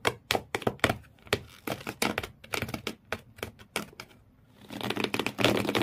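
Fingernails rapidly scratch the corrugated cardboard floor inside an empty shoe box. A quick series of sharp, dry clicks and scrapes with bright edges gives way to a denser, continuous rasping scratch toward the end.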